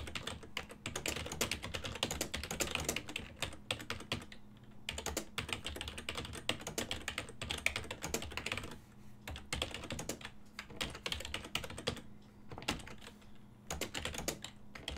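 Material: Plastic.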